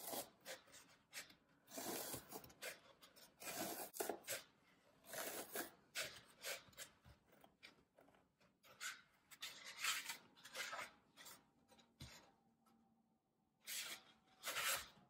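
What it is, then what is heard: Green floral foam block being crushed. Fingertips and thumbs press into a solid green floral foam brick, crushing its surface so small crumbs break off. The result is a quiet series of dry, bright, raspy crunching bursts with almost no low end, separated by short pauses.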